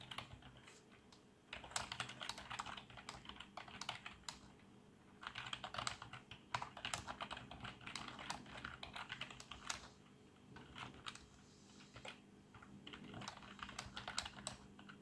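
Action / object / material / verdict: tap / plastic membrane keyboard / plastic / none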